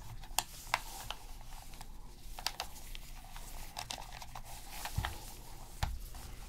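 A black PS3 controller of hollow plastic rests on black fabric while gloved hands press its buttons and a cotton swab scrubs the gaps around them. Sharp, bright plastic clicks and taps stand out over a steady, quiet scratchy rubbing, with a few low thumps as the controller shifts on the fabric.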